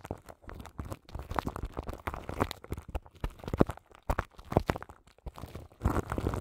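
Long nails scratch the crinkly plastic film wrapped over the grille of a large microphone. The result is a close, irregular run of crackling, crinkling scratches in quick bursts and short pauses, heavy in low rumble with little high-end brightness.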